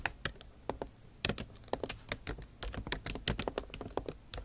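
Long nail tips type on the plastic keycaps of a backlit MacBook Pro keyboard set in an aluminum body. Sharp, bright clicks come in uneven bursts with brief pauses. Each click dies away almost instantly.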